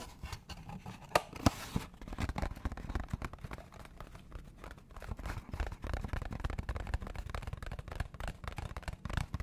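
Fingernails scratch and tap a small, hollow, orange cardboard McDonald's box held close to the mic. A dense, irregular stream of dry scratches and soft hollow taps is mostly low and thumpy, with a couple of sharper, louder clicks early on. The sound stays steady throughout with no lingering ring.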